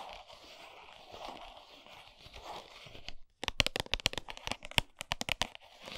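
Long almond-shaped nails scratch a flat 100 g Lindt milk chocolate cardboard box, with the bar still inside, lying on a towel, making a steady, soft, hissy scraping for about three seconds. After a brief silence, the nails tap the box in a fast run of sharp, bright clicks that stop almost instantly.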